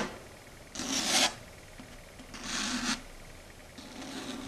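Long red stiletto nails scratch across a flat, solid dark grey chalkboard surface in close-up. Three separate bright, rasping scrapes rise out of a quiet hiss, with the last one softer. Each stroke is a harsh, high-pitched screech that stops abruptly.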